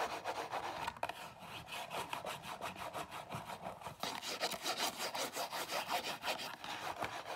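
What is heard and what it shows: Long nails scratch and rub the top and front of a small Zara cardboard perfume box standing on a table. The result is a steady run of quick, dry, rasping strokes with a bright papery hiss, about two to three strokes per second, with a brief sharper scrape near the one-second mark. The strokes grow slightly louder and more pronounced in the second half.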